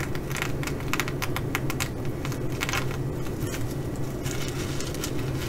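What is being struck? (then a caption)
Fabric bag covered in plastic sequins. Long glitter nails scratch and brush across a flat fabric bag covered in reversible blue plastic sequins, some flipped to bronze. Quick, bright clicking and rustling ticks rise over a steady low rumble that runs the whole time at an even level.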